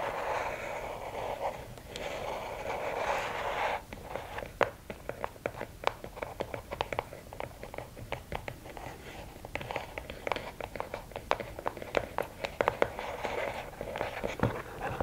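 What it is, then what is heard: Cardboard gift box tapped and scratched with fingernails. Long nails scratch and tap the sides of a closed, hollow red and black rigid cardboard gift box. A steady, papery scratching fills the first few seconds, then gives way to many quick, dry taps with a hollow, mid-pitched knock and almost no ring, mixed with lighter scratches.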